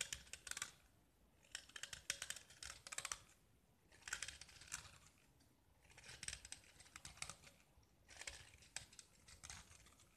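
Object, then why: Small painted gypsum brick. A small solid gypsum tile painted with black and white stripes is held in the fingers and scraped with a metal utility knife blade, peeling off chalky curls. The scraping comes in repeated bursts of dry, crisp, high-pitched rasping with short crackly ticks, separated by near-silent pauses. The overall sound is quiet and bright, with very little low end.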